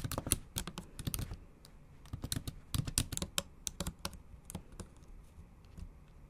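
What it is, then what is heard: Laptop keyboard with plastic keys. Long acrylic nails tap quickly across the black plastic keys of a MacBook Pro keyboard set in an aluminum body. Each keystroke makes a sharp, bright click over a soft low thud, coming in uneven bursts with short pauses between them.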